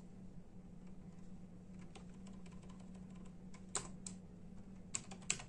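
Bare fingertips of both hands tap slowly on a full-size black and silver plastic membrane keyboard with hollow keys. Soft, irregular clicks build to a few sharper, brighter key strikes near the end, over a steady low hum.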